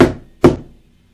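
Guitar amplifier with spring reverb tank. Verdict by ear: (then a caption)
Dry. A guitar amplifier with a spring reverb tank is tapped twice with its reverb turned down. Each tap gives a plain, short knock with no spring echo, dying away quickly.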